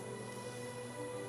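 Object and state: Nothing is struck.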